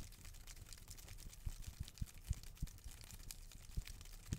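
A green palm frond with thin, narrow leaflets is handled and torn with fingers and nails, giving quiet, soft crinkly rustling over a low rumble. Brief low thumps and faint snaps pop out at irregular moments as the leaflets are pulled and ripped.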